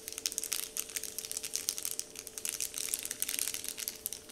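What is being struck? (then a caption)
Paper candy wrapper sheet. Fingers pinch and crinkle a large, flat, heart-shaped, Dove-printed paper candy wrapper sheet. The result is a dense, continuous run of bright, crisp crackles and rustles with quick, dry attacks, over a faint steady low hum.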